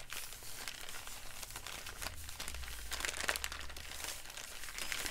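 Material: Paper.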